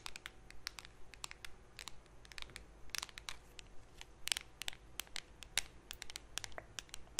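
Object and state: Metal cream tin scratched with nails.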